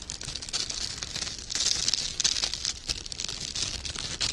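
Fingertips with short painted nails crinkle and rub loose loops of a gold glittery sheer organza ribbon with wired edges, held in both hands. The result is a dense, steady stream of soft, bright crinkling and rustling, mostly in the high range with almost no low end, swelling a little louder in the middle.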